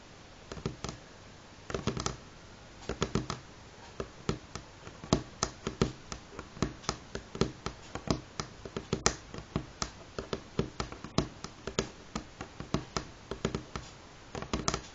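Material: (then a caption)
Wood. Medium-length fingernails of both hands tap on a solid light pine tabletop with visible grain. Short, dry clicks with a woody low thump come in quick, irregular bursts, each dying away almost at once against a quiet background.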